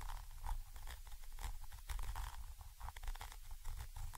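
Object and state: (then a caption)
Metal microphone capsule being scratched. A thin orange stick scratches a Zoom H5 XY microphone capsule, a small chrome metal body with mesh grilles, from above. The result is a continuous, close, rumbling scrape dominated by low thuds, with brief brighter crinkling bursts throughout.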